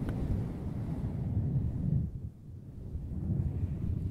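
A small, soft, fluffy grey synthetic-fur windscreen on a handheld recorder mic is rubbed and scratched with both hands using long nails throughout. The result is a dense, muffled low rumble of brushing and scratching, concentrated almost entirely below 200 Hz. It briefly softens around the middle before building back up.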